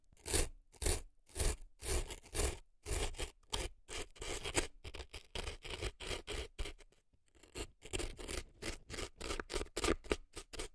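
An earpick scrapes and scratches dry floral foam packed into the canal of a right silicone elf ear. The result is a series of short, dry, crunchy scraping strokes with a bright gritty edge, bunched into irregular bursts with a brief pause near the middle.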